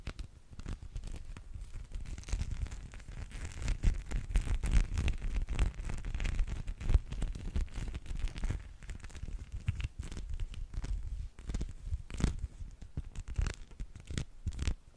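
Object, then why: Rubber spiky massage ball. A small teal spiky rubber massage ball is held in the fingers and scratched and rubbed with the fingertips close to the microphone. The result is a steady stream of dense, crackly scratching and rustling with a heavy low-end rumble and many quick, dry clicks.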